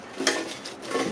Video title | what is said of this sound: Will Lobster Air Fry. November Florida Keys Spiny Lobster Catch and Cook. | you can just hear how crispy that is